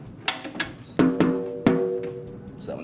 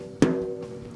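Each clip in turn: First: Five light taps on a snare head ring with clear pitched tones; the last sits lower, marking a slack lug. Second: A single light tap on a drumhead gives a clear mid tone near 260 Hz with steady higher partials ringing on.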